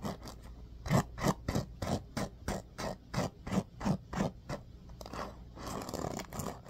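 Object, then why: Bamboo paddle hairbrush with pin bristles. Fingertips rake and scratch along the pin bristles of a bamboo paddle hairbrush, held partly out of frame. A fast, rhythmic series of dry, rasping strokes, about three per second, alternates with soft low thuds. Near the end, the strokes blur into a continuous, brighter scratching.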